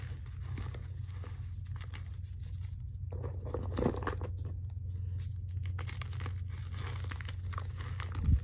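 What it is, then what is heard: Gym chalk blocks being crumbled. Both hands grab and crumble a heap of white magnesium carbonate gym chalk from eight blocks, with whole square block pieces still visible, in a dark bowl, squeezing it between fingers and palms. Soft, dry crunching and crinkling crumbles continue over a steady low hum, with a louder crunch near the end.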